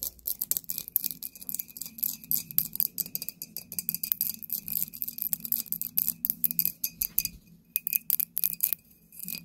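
An embossed clear glass bottle with a cork stopper is tilted in the hands and tapped with long nails on its sides and base. A rapid, uneven stream of sharp, bright clicks with almost no ring plays over a faint steady tone and a low hum, easing briefly near the eight-second mark before the tapping resumes.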